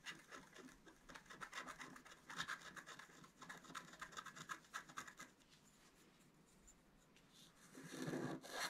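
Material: Waxed paper.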